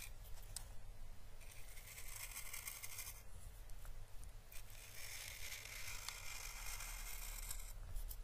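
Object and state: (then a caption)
Dried Chinese lantern husk being brushed. The bristles and tip of a small paintbrush are stroked across an orange, dried Chinese lantern (physalis) husk, a papery hollow shell, making soft, bright scraping and crackling. Two long brushing passes stand out, with a few light ticks between them, over a steady low hum.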